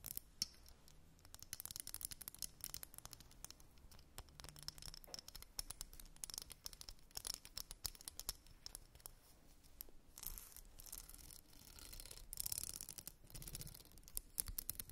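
A small, solid, wide-tooth purple glitter plastic comb is held over a fluffy blanket and scratched along its teeth with long pink nails and fingertips. The result is a quiet, dense run of quick, bright plastic clicks and scratchy ticks with no ring after each one. Brief, breathier bursts of scraping come in around the 10- and 12-second marks.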